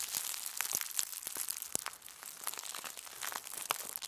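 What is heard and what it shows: A crumpled sheet of aluminum foil is twisted between the fists and lifted while being crushed. It makes a dense, continuous run of bright, crisp crinkles and sharp crackles with almost no low end, each snap dying away almost instantly.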